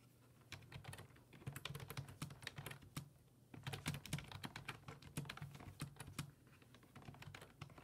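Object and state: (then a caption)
Plastic computer keyboard. Fingertips type rapid key presses on a black plastic full-size desktop keyboard with low-profile keys resting on a wooden desk. Quick, bright plastic clicks patter in uneven bursts after a brief quiet start, over a faint steady low hum.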